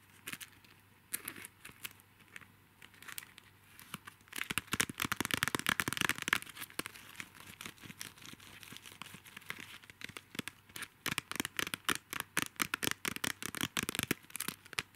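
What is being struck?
Clear plastic zip bag holding small plastic highlighters.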